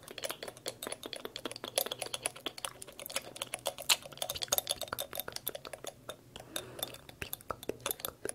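A small dark glass dropper bottle with a white rubber or plastic dropper cap is held in both hands and tapped and scratched with long light-colored acrylic nails. The result is a quick, steady stream of dozens of light, bright clicks and clinks that stop almost instantly, with soft scratching between them over a faint low hum.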